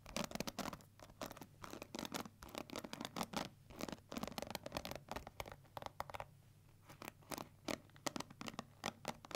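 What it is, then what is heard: Plastic paddle hair brush. Long nails and fingertips scratch and strum the plastic bristles of a pink plastic paddle hair brush held bristle side toward the hands. A quick, irregular series of short, dry, bright scratching and rattling bursts is heard, with brief pauses between flurries and a faint steady low hum underneath.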